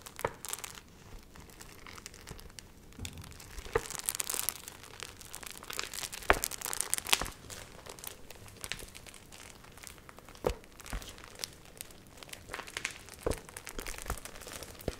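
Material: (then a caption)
Paper. A thick stack of water-wrinkled printed paper sheets, dried and wavy, is held up, flexed, riffled and crinkled with long nails. Dry, bright crinkling and crackling rustles throughout, punctuated by sharp, brief snaps and rustling bursts.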